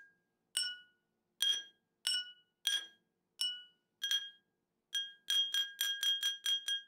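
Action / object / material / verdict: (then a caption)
tap / glass tumbler partly filled with water, tapped with a metal spoon / glass / none. A metal teaspoon taps the rim and outer wall of a small, round, clear glass tumbler partly filled with water. It makes a series of bright, ringing clinks at an uneven pace, with short tonal decays. The taps start sparse and quicken into a rapid cluster near the end.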